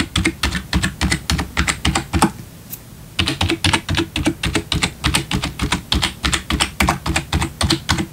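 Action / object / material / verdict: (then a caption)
tap / plastic computer keyboard / plastic / none. One hand types with its fingertips on the left section of the keys of a black plastic backlit computer keyboard. Quick, uneven clacking keystrokes combine low thuds with bright plastic clicks that cut off almost instantly. The typing stops briefly near the three-second mark, then resumes at the same brisk pace.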